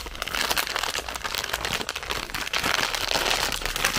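A full red plastic zefir bag is held up, crinkled and squeezed with fingertips and long nails. Dense, continuous crinkling and crackling fills the clip, bright and mostly in the upper range, with little low end.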